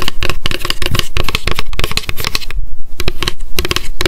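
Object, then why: Paper notebook with card cover. Long decorated acrylic nails tap fast on a small pink m.memo spiral-bound paper notebook with a card cover, held in the hands. The result is a dense run of short, dry clicks with a low papery thump behind them. A brief pause falls just past the middle before the tapping resumes.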